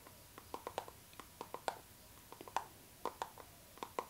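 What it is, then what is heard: Clear PVC zipper pouch. Long nails tap and scratch a clear pink PVC zipper pouch, a transparent vinyl bag held horizontally in both hands. Soft, dry plastic clicks come in an irregular, unhurried pattern, each a crisp tick with a bright edge that dies away almost instantly against a quiet background.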